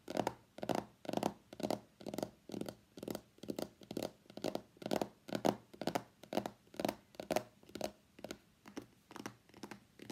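Long nails tap on the printed back of a small, hollow white cardboard iPhone box that has been turned over. The taps come in quick, uneven clusters about twice a second, each a dry, hollow click with a low-mid body and a bright tick, dying away almost at once. The tapping is quiet and runs steadily through the clip.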